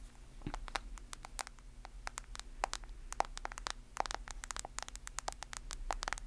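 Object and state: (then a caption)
Smartphone in plastic case. Long acrylic nails tap and scratch the edges and back of a smartphone in a white plastic case held close to the microphone. The result is a quick, irregular patter of sharp, crisp clicks and light scraping over a faint steady low hum.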